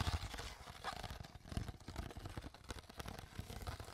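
An empty, crumpled, hollow clear PET water bottle with its cap on is crinkled and squeezed by hands with long nails. The result is a steady run of quiet, dense crackles and short snaps with a dull, low-heavy body. Each crunch dies away almost instantly.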